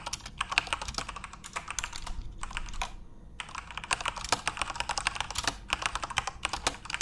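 Fingertips type quickly on a full-size, RGB-backlit Corsair mechanical keyboard with plastic keycaps. The result is a dense run of sharp, bright, clacky keystrokes with almost no ring, briefly pausing around the three-second mark before the typing resumes.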